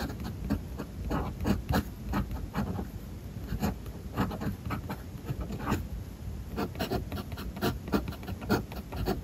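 The metal nib of a Platinum #3776 fountain pen is drawn across thin white paper in a spiral-bound notebook lying flat on a desk while Japanese lyrics are written. A continuous light, low scratching is heard, broken by short, distinct stroke onsets as each character is formed.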